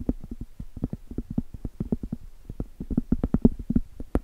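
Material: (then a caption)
Cork. Long stiletto acrylic nails rapidly tap and scratch the top surface of a round, flat, solid cork trivet. The result is a quick run of dull, muffled, low knocks with almost no ring, ending in one sharper, brighter tick.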